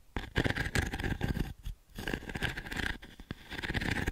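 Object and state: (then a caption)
Wooden-frame pin brush being raked. A small octagonal wooden-frame pin brush with a dense grid of pins is held in the palm while long nails rake across the pins. The result is a run of quick, dry, scratchy strokes that are stronger in the low range. Some strokes hit sharp, bright peaks and then fade into brief quiet gaps.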